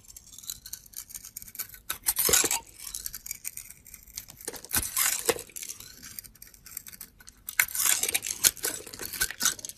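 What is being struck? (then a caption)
Glitter-coated soap bar scraped with a metal blade. A solid gold glitter-coated soap bar, held by a hand with long teal nails, is scraped with a metal blade. The scraping gives dry, bright, crackly rasps over a quiet hiss, swelling into several louder strokes that flake off the soap.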